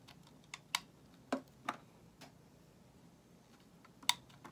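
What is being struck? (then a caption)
Bar of soap shaved with a metal blade. A solid white bar of soap held in the hand is shaved with a metal utility knife blade. Five short, crisp scraping clicks with bright, high content stand apart over a quiet background. Each one dies away almost at once.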